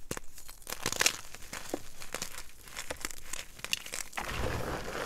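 Two hands squeeze, press and crumble a mound of dry, crushed white gym chalk (magnesium carbonate) powder and chunks on a dark surface. Dense, dry crunching and crinkling with sharp, bright crackles fills the clip. Toward the end it settles into a steadier, grainy crumble.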